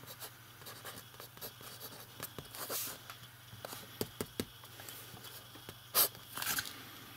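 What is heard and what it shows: A metal fountain pen writes on the page of an open lined paper notebook, its nib scratching the paper in quick, bright, crisp strokes over a faint steady low hum. A few sharper scratches stand out near the middle, and a louder, longer scrape comes near the end.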